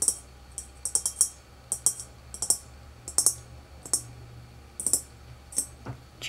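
Fingertips and nails tap the top of a small, old, hollow tin desk globe with an equator seam, resting on a dark stand. About twenty quick, irregular taps come out as bright, sharp metallic clicks, high-pitched and dying away almost instantly. A faint steady low hum runs underneath.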